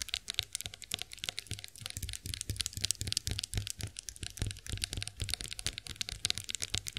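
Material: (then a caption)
Chrome-plated metal. Long nails tap and scratch the ridged heads of a chrome-finished face roller in quick, dense, bright clicks with very short ring. Beneath them runs a faint low hum.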